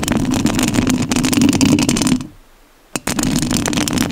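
Long nails scratch the metal mesh grille of a rhinestone-covered studio microphone, making a dense, rasping scrape with a strong low-mid body and bright crackle on top. The scratching stops at about 2.3 seconds and fades to near silence. After one brief scrape, it resumes at full intensity until the end.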